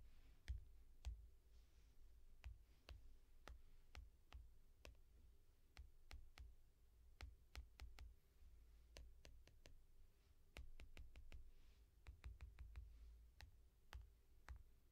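A single long fingernail taps the glass screen of a small tablet in a yellow foam case. Short, sharp clicks with a bright edge and almost no ring come in an irregular rhythm, sometimes in quick bursts, over a low rumbling background.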